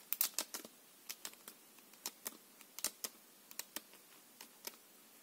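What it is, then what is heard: Plastic-coated playing card deck. A full deck of plastic-coated paper playing cards is held in the hands and riffled along the edge with the fingers. About eighteen quiet, bright, crisp clicks and flicks come in an uneven rhythm over five seconds, each very short with almost no low end.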